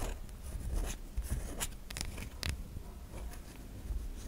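A solid white bar of soap is held in the hand while long nails scratch across the ridged grooves on its surface. The result is a series of short, dry, raspy scrapes with bright hissy edges, over a quiet low rumble. The scratches come in uneven bursts, with sharper strokes near the middle of the clip.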